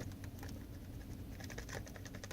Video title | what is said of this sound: Tops dragonfly knife | it almost has no rattle